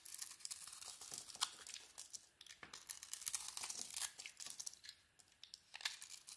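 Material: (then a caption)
Soap. A metal blade shaves a solid zebra-striped soap bar with a cream core, making a dry, bright scraping and crisp rasping. Quick, uneven strokes come in bursts with brief quieter gaps, with almost no low end.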